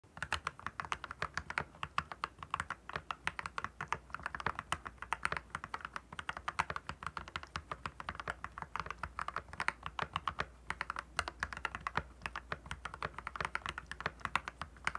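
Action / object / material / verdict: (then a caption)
tap / plastic mechanical keyboard / plastic / none. Fingertips of both hands type fast on a compact RK68 mechanical keyboard with clear plastic keycaps and a backlight, resting on a desk. A steady stream of short, crisp plastic clacks centered around 1 kHz with bright edges runs through the whole clip, each keystroke dying away almost instantly over a faint low hum.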